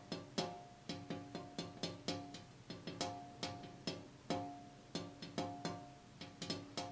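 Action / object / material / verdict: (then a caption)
tap / glass window pane / glass / none. A glass window pane is tapped 23 times in an irregular rhythm. Each tap gives a sharp, bright click followed by a short, hollow ring with a clear tone around 700 Hz that fades within about a fifth of a second.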